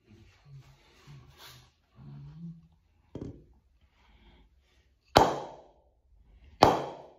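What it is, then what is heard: Willow cricket bat, ping test. A full-size solid willow cricket bat, held upright by its handle, is struck on the face with a round wooden mallet in a knock or ping test. After some faint low murmuring, a lighter knock is followed by two sharp, loud knocks. Each knock has a bright attack and a short, ringing tone around 750 Hz that decays quickly.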